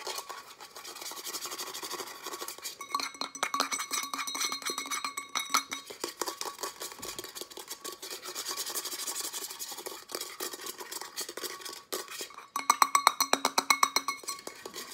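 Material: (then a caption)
Stainless steel. Fingernails rapidly tap and scratch along the side and base of a hand-held matte pink Starbucks metal tumbler, a hollow cylinder about 20 cm tall. Dense, uneven dry clicks and raspy scrapes come at roughly four per second, bright, with almost no ring and a faint hollow tone near 1.2 kHz. The tapping grows sharper and louder toward the end.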